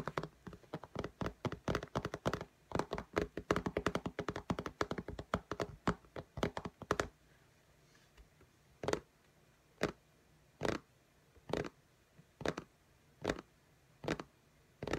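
Long natural nails tap and click on the glass screen of a flat iPad in a pink case lying on a table, using both hands. Quick, dry, dense taps fill the first seven seconds, then give way to slower, evenly spaced single clicks with quiet gaps between them. Each tap is short, with almost no ring.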